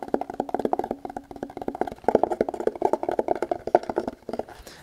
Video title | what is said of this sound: ASMR - Tactical Tapping And Scratching On A Variety Of Holsters | as you can tell it's pretty Hollow